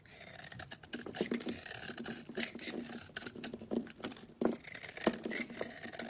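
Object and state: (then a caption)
Bar of soap being scraped. A utility knife blade scrapes a solid cream oval bar soap held in the palm, shaving off curls. Quick, crisp rasping strokes with a bright, papery texture come in uneven bursts, some louder scrapes standing out, with a faint low-mid tone under the scratching.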